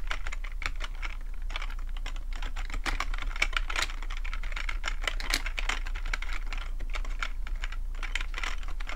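Both hands type with their fingertips on a black plastic computer keyboard in a rapid, continuous run of sharp, bright key clicks and clacks. A steady low hum sits underneath the typing throughout.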